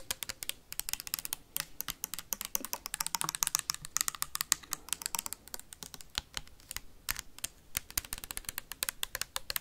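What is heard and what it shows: Metal paperclips tap fast and hard on a tall clear plastic sanitizer bottle with a white cap that holds liquid. The result is a dense stream of sharp, bright clicks with almost no ring, sounding dry and crisp throughout.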